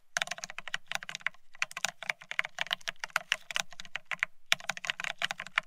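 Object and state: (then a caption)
Plastic ergonomic keyboard being typed on. Fingertips of both hands type fast on a full-size beige split ergonomic keyboard with plastic keycaps. The result is a dense stream of short, bright, clicky taps over a soft low thump, each dying away almost instantly. There are brief pauses just before 1.5 seconds and around 4.4 seconds.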